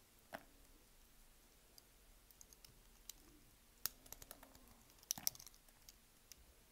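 A solid beige bar of soap, pre-scored into small cubes, is held in one hand while the cubes are cut and scraped off with a utility knife. Quiet, bright, crisp clicks and short scraping crackles sound in scattered bursts, each dying away almost instantly, with a denser cluster of snaps near the end.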